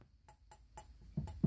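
Six light taps on a newer replacement metal P-trap give short, dull, low knocks centered near 148 Hz that die away almost at once. This P-trap is thicker than the corroded one it replaces.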